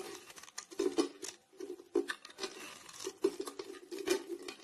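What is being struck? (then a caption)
Round soap bar. A blade scrapes shavings off the domed surface of a solid grey round bar of soap held in the hand. Repeated short, dry, crunchy scrapes carry a steady mid-pitched tone with a bright, crackly rasp, each stroke stopping quickly with almost no ring.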